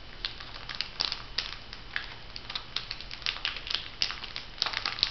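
Hands bend and crinkle a flat, printed, filled foil sheet-mask packet. The result is a steady stream of bright, sharp crackles and crinkles with quick, dry snaps and almost no low end.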